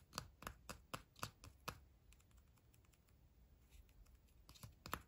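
A small pink-and-white Kinder-style chocolate egg, wrapped in printed aluminium foil with a solid chocolate shell and hollow inside, is held in the fingers and turned over while fingertips and nails tap and rub the foil. A quick run of crisp, bright clicks gives way to a quieter stretch of faint rustling, then a few more sharp taps at the end. Each click is short and dry, with no ring.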